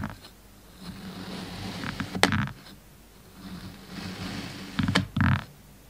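A long serrated knife with a black blade is drawn and pressed through a flat, solid, stamped slab of purple kinetic sand resting on a white surface. Two slicing cuts are heard as soft, gritty scraping swells, each ending in a sharp click and a brief louder crunch as the blade finishes the stroke.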